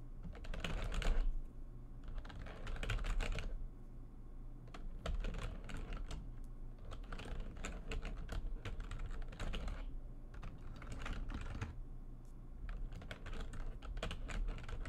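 Fast typing with long nails and fingertips on a full-size plastic computer keyboard with white backlighting and a hollow housing. Bursts of quick, bright clicking and tapping alternate with brief lulls, over a steady low hum.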